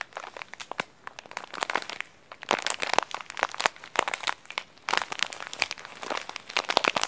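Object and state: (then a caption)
Plastic snack wrapper being crumpled. Fingers crinkle and crumple a thin, green printed plastic snack package with coconut graphics, squeezing it in the hands. Dense, bright crackles and sharp snaps come in irregular bursts, with louder, thicker stretches of crumpling around the middle and again near the end.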